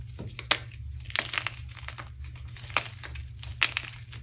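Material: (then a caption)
Chalk. A hard, solid, off-white coffee-dyed gym chalk block (magnesium carbonate) is squeezed and crushed between the fingertips of both hands with short painted nails, over a pile of chalk crumbles on a dark surface. Sharp, dry, bright crunches and crackles snap out with almost no ring, over a steady low hum. The block breaks down into more crumbles.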